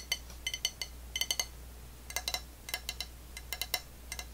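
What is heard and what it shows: Long nails tap and scratch the unglazed foot ring and underside of an empty dark blue ceramic plate held tilted upside down. About nineteen sharp, bright clicks come in quick clusters, each dying away almost instantly with only a faint high ring. A steady low hum runs underneath throughout.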